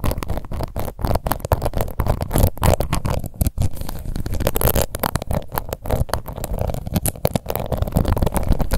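Long nails scratch across the embossed lid of a small round pink plastic face powder compact. The result is a dense, continuous stream of rapid, crackly scrapes with a heavy low-end rumble and short, dry bursts that don't ring out.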